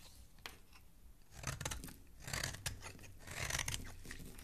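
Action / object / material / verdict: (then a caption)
scrape / bar of soap scraped with a metal blade / soap / none. A solid green oval soap bar, held between fingers, has its edge scraped with a metal blade, sending crumbly flakes falling below. Crisp, bright scraping and crunching strokes come in quick bursts over a soft low rumble, growing denser and louder toward the end.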